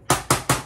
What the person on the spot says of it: it feels like tin sounds like tin they're surprisingly robust